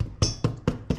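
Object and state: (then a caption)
Baked-through bread loaf (hollow). Four taps on a freshly baked white tin loaf, still in its tin, after 30 minutes in the oven. The low, short, hollow-sounding knocks die away quickly, showing the loaf is baked through.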